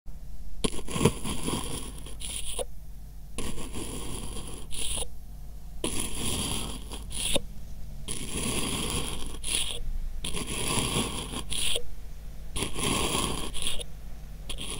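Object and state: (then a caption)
Kinetic sand dome being poked. A thin metal awl with a wooden handle repeatedly pokes and pierces a small, solid purple kinetic sand half-dome resting on a white surface. Bursts of gritty, crunchy scraping alternate with short pauses, bright at the top with a steady low hum underneath.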